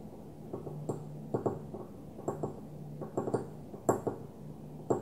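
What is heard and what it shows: Long fingernails on one hand lightly tap and scratch the top of a small, opaque white glass perfume bottle lying on its side. Quick, dry clicking taps with a faint bright tick come in irregular bursts, separated by soft scratching over a quiet, steady low hum.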